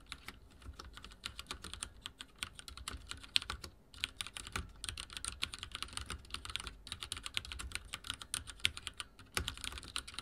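Fingertips type on a backlit mechanical keyboard with dark plastic keycaps, producing a steady stream of quick, bright clicky keystrokes. Each tap is short and dry with almost no ring, with a couple of brief pauses and occasional louder strikes.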